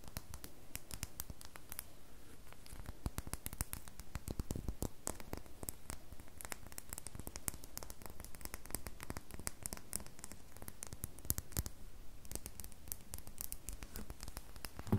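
A solid red bar of soap is held on and above a table and scratched with long fingernails. It makes a dense, continuous stream of quick, dry scratching clicks with crisp, bright edges over a soft, low background hum.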